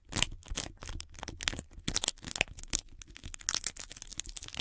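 Long red nails and fingertips tap, scratch and press on white sticky tape wrapped around a microphone body, making the tape stick and unstick. The result is a dense run of short, bright, crackly taps and sticky peeling sounds with a faint low thump beneath, each one dying away almost instantly.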